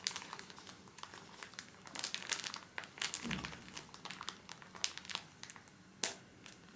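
A full pocket pack of paper tissues in soft plastic film is held in both hands and squeezed and rubbed with the fingertips. The film gives off a steady run of bright, dry crinkles and crackles with little low end. The sharp bursts are sprinkled throughout, and a louder crunch comes near the end.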